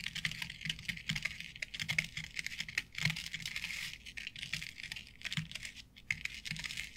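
Long nails tap rapidly on a flat board covered with synthetic artificial grass. The result is a dense, crisp patter of short clicks with bright, rustling highs and soft low thuds underneath, each tap dying away almost at once.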